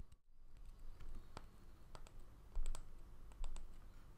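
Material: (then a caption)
Bamboo. A small, solid round bamboo jar lid with a seal ring on its edge is held in the hand while fingernails tap and scratch across its flat face. The result is a quiet, irregular run of short, dry, bright clicks that die away almost instantly, over a faint low background rumble, with two taps landing noticeably louder.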